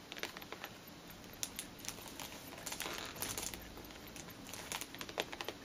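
A tall cellophane-wrapped cardboard perfume box, held upright in both hands, is tapped and scratched on its wrapped sides with long green nails. Quiet, crisp crinkles and sharp, bright little taps come in uneven bursts over a soft hiss, each tap dying away almost instantly.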